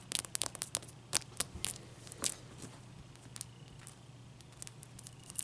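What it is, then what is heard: Large ice cube scratched with nails. Long nails scratch a large, clear, solid ice cube, first as it rests and then while it is lifted and held in the hand. Quick, bright, crackly scrapes and clicks come in clusters, loudest early and again near the end, over a faint steady low hum.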